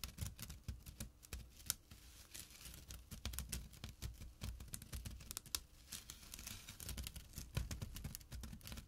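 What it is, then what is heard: Burlap drawstring bag. Fingertips and short nails rapidly scratch the coarse weave of a small, empty jute/burlap drawstring pouch lying flat on dark cloth. The result is quiet, dry, scratchy rasping in quick bursts, with bright crackly edges over soft low thumps.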